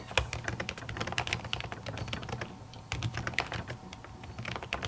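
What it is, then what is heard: Laptop keyboard with silicone cover, typed on. Long natural nails and fingertips type rapidly on a silver laptop keyboard covered by a thin white printed silicone cover over plastic keys. The result is a dense run of quick, short clicking taps with bright edges, over a steady low hum.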